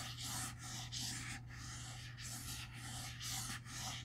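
Fingertips trace and scratch across the cloth/paper-covered board front cover of a large black hardcover comic book, The Eternals Omnibus, standing upright and closed on a wooden table. Repeated soft, bright scratchy swipes rise and fall over a steady low hum.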